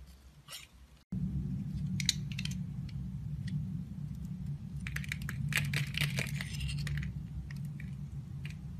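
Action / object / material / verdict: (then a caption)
scrape / soap bar cut by a blade / soap / none. A green-handled utility knife shaves thin slices from the edge of a palm-sized, solid yellow oval bar of soap with an embossed logo, held in the hand. Bright, crisp scraping and crackling bursts come in irregular clusters over a steady low rumble. After a brief dropout near the start, the cutting grows denser toward the middle.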